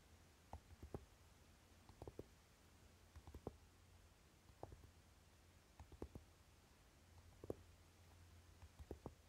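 Short fingernails on both hands tap and scratch the lid of a flat, rectangular Naked eyeshadow palette, a hollow tin case with a dark velvet-flocked fabric coating. About a dozen soft, muffled taps with very short decay come in small clusters, some as quick double taps. A faint low hum runs steadily underneath.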